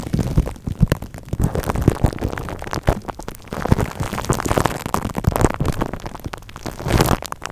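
Long painted acrylic nails tap and scratch clear plastic cling film wrapped tightly over a large silver Blue Yeti microphone, working across its metal mesh grille and body. Dense crinkling, rustling and sharp tapping sounds run throughout, heavy in low thuds with many quick, dry hits that die away almost instantly.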